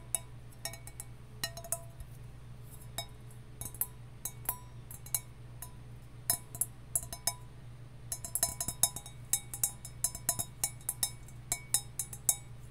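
A copper mug is tapped in quick, irregular bursts, giving bright, short metallic clinks over a steady low hum. The taps are sparse at first and grow denser toward the end.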